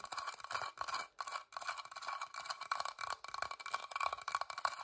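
Long dark fingernails tap and scratch across the carved surface of a small, hollow, whitewashed wooden box with an openwork floral lid, held close by. Quick dry clicks and rasping scrapes tumble over one another in bursts, with a faint hollow resonance around 1.1 kHz, a bright upper edge and almost no low end. Each tap dies away almost instantly, with brief silent gaps between the bursts.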